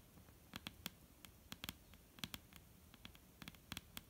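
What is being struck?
Wooden tabletop.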